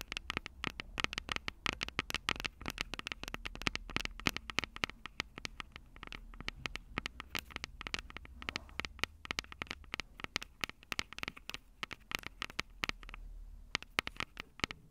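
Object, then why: Handheld recorder with metal mic capsules and plastic body. Long purple nails tap and scratch the two silver metal mic capsules on a plastic-bodied Tascam DR-05 handheld recorder. The result is a dense, rapid stream of sharp, bright clicks and scratchy ticks, each dying away almost instantly, over a faint low rumble. The tapping continues throughout the clip.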